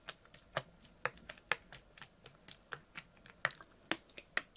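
A clear ribbed PET water bottle with a blue cap, full of water and held sideways, is tapped with fingernails. About sixteen quick, crisp clicks land in an uneven rhythm, each a short, bright tick with almost no ring and little low end.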